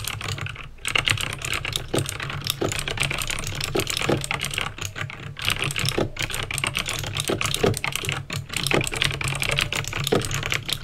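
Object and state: Clicky plastic mechanical keyboard.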